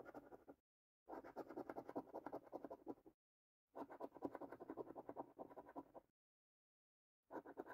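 A coin held in the fingertips scratches the silver latex panels off a flat, thin cardboard lottery scratch card held in hand. Rapid, rough, papery scraping strokes come in three long bursts separated by silent pauses, with a fourth burst starting at the end. The sound is a dry, mid-range rasp with no ring.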